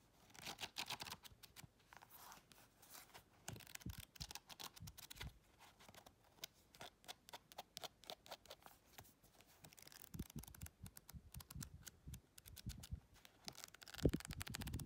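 Long chrome nails tap and scratch quickly across the paper pages and cover of a paperback colouring book as it is held and partly flipped. The result is a dense run of short, dry taps mixed with rough papery scratching.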